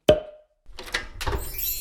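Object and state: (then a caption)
Well-bonded floor tile. A ceramic entrance floor tile is tapped to check that it is firmly bonded. A sharp knock with a brief ring near 600 Hz is followed by further softer, muffled taps and noise. The dull sound indicates the tile is well bonded.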